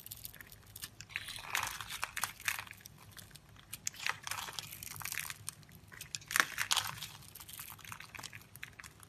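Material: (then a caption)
Soap. A hand-held solid rectangular soap bar with blue and white stripes is scored and cut across its surface with a metal blade into small cubes that crumble off. Dry, bright crunching and crinkling scrapes come in short bursts with quiet gaps between them, with no low rumble beneath.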